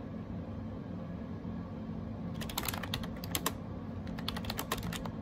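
A gray AJAZZ 308i wireless Bluetooth keyboard with round plastic keycaps is typed on with the fingertips. After about two seconds of a low, steady background hum, rapid bright clicky key taps begin and continue in quick bursts to the end.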